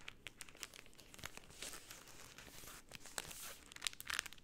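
Pink cellophane rolled into a tube by both hands crinkles under fingertips and nails. Quiet, bright crackles and rustles come in quick, irregular bursts, with a few sharper snaps standing out near the end.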